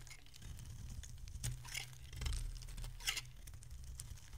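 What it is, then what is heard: Dry bar soap being shaved. A metal utility blade shaves curls from a solid, rounded bar of dry pink soap held in the hand. Soft, crinkly scraping strokes with bright, crisp bursts sit over a steady low rumble, with no talking.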